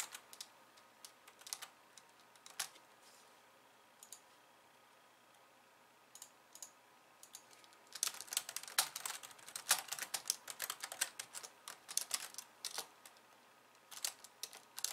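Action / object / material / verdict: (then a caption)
tap / plastic computer keyboard / plastic / none. Long painted nails type on a pink low-profile plastic keyboard with white keys resting on a wooden desk. Sparse, light clicks for the first eight seconds give way to a dense burst of rapid, bright, short-lived key taps. After a brief lull, a few final taps close the clip.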